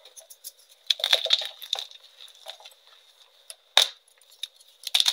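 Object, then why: Reformed gym chalk block on a metal tray. Large solid chunks of pink-dyed reformed gym chalk are broken apart and crumbled into pieces and dust by fingertips and nails on a metal tray. Bright, dry snaps and gritty crunches come in scattered bursts, with a faint high ring from the tray and one sharp crack near the end.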